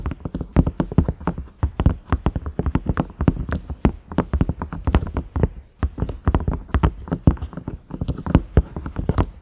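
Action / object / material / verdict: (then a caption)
tap / silicone microwave lid / silicone / none. Long nails tap and scratch on the knob and ridges of a large cream, ridged silicone microwave lid with a grey-brown round knob, thin and hollow underneath. Quick, dense, hollow, soft taps land in an uneven run, with a low thud and very short decay. Brief, bright scratchy clicks cut through now and then.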